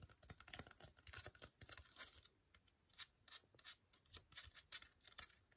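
A flat, sealed, silver-white No7 foil sheet mask sachet, still full, is held in both hands and tapped with long fingernails. Quick, irregular clicky taps mix with crisp crinkling of the foil, bright and dry, each sound dying away almost instantly.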